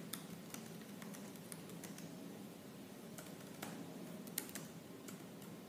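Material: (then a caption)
Plastic. Fingertips with purple-painted nails type fast and hard on the black plastic keys of a silver laptop. Crisp, bright key clicks tap out in quick irregular bursts over a steady low hum, with each click dying away almost instantly.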